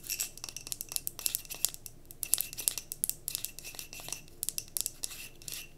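Long nails tap rapidly on the sides of a clear glass mason jar candle filled with cream wax, which has a label and is held and tilted. The sound is a quiet run of bright, high-pitched clicky taps with very short ring and little low end.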